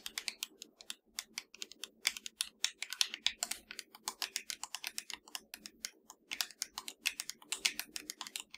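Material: Plastic.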